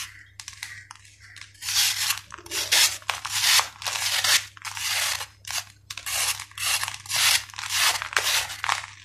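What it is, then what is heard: Sand-cement ball being shaved. A steel knife blade is scraped again and again across the flattened face of a solid, dried sand-cement ball held in the palm, shaving off gritty powder. Each stroke gives a bright, dry, crunchy rasp that swells and fades, repeating in a steady rhythm after a few faint opening scrapes.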